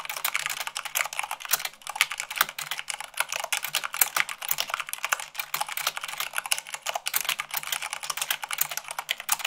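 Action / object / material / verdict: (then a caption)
tap / plastic mechanical keyboard / plastic / none. Rapid typing at about 98 words per minute on a white plastic mechanical keyboard, struck with fingertips and long nails. A dense, steady stream of sharp, bright clicks and clacks with almost no low end, each keystroke dying away almost instantly.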